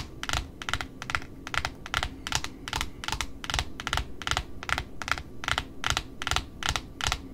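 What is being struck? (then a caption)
Cardboard ribbon spool. Long pointed nails tap steadily on the flat face of a large white cardboard spool wound with pink satin ribbon along its edge. The taps come as a quick, slightly uneven run of dry, bright clicks with a hollow low thump under each, every one dying away almost at once.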